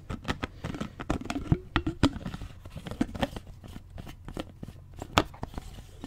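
A clear plastic bottle, partly filled with water, is tilted and shaken while fingertips grip and tap its sides. Quick, dry taps and crinkling clicks from the plastic overlap with the low slosh of the water inside. A short, ringing tone briefly rises from the bottle midway through.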